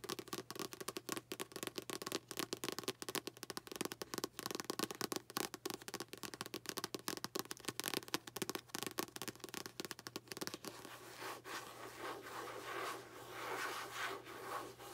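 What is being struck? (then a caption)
Paperback book with card cover. Long nails scratch and rub along the card spine and cover edge of a light blue paperback book held horizontally, making rapid, dry, crackling scratches for about ten seconds. The sound then eases into a softer, smoother, steadier rubbing with a bright papery hiss.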